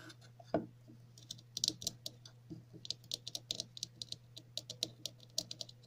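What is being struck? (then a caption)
Ridged plastic cap. A red plastic cap with ridged, grooved sides is held in the hands and scratched and tapped on its ridges with long natural nails. The result is a quick, irregular run of bright, crisp clicks and taps with light scratchy textures, over a faint steady low hum.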